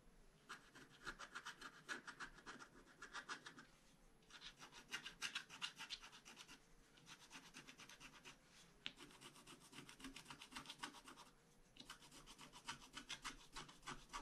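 A long bamboo stylus scratches repeated strokes across the coated surface of a flat scratch-art card page. The result is a quiet, dry, bright scratching in quick rhythmic bursts, broken by brief pauses between runs of strokes.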